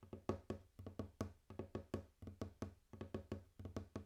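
Knuckles or fingertips tap and knock on a wooden table in a quick, uneven rhythm of about 22 hits. Each knock is a short, dull, low wooden thud that dies away almost at once.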